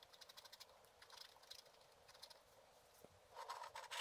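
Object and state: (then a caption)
Scratch art card being scratched. A wooden stylus is drawn in slow strokes across a black-coated scratch art card lying flat. The result is a quiet run of short, dry, bright scratches with no low end. Near the end the strokes turn louder and denser, becoming a rougher, hissing scrape.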